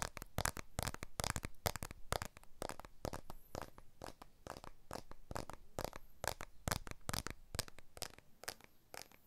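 A blue iPhone 12 with a glass back and aluminium frame is held upright in both hands above a recorder while fingertips and short nails tap and scratch its back and frame. Quick, dry, bright clicks come in an uneven, rapid stream, with soft scratchy crackling between them. Each tap stops instantly with no ring.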